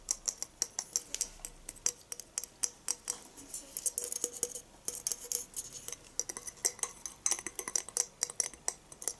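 A shiny gold, spire-shaped glass Christmas tree topper with a ball-shaped base, about 20 cm long, is held in the hand in front of a fake Christmas tree and tapped with fingertips and nails. Many quick, bright, glassy clicks and light ticks follow one another, each dying away almost at once, with a faint higher shimmer over the taps.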